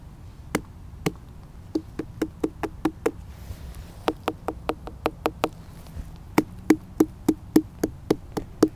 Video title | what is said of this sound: 6 Watermelon Growing Mistakes To Avoid 🍉 | Has a bit of a hollow sound.